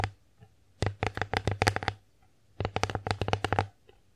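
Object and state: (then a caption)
Wooden plate tapped with nails. Long acrylic nails tap and scratch the face of a flat, solid, bear-shaped wooden (bamboo-like) children's divided plate held upright in both hands. Two bursts of quick, crisp clicking taps are separated by a pause, with a faint low hum underneath.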